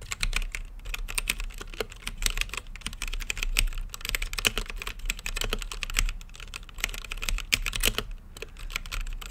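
Fingertips type continuously on a mechanical keyboard with plastic keycaps on a translucent acrylic case. The result is a rapid, uneven stream of short, bright clicks and clacks that die away almost instantly, over a faint low hum.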